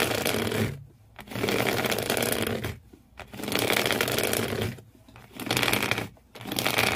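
Fingernails scratch intensely across the corrugated cardboard floor inside an empty shoe box, making a dense, bright rasping noise. It comes in four long bursts separated by short quiet gaps.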